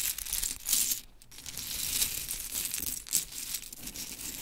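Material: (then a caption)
Wood. Long chrome nails scratch and rake through a pile of small, solid, pink-painted wooden mini clothespins resting on glitter fabric. The pieces clack and rattle together in a dense, bright, crinkly texture with brief louder bursts. There are short quieter gaps between the bursts.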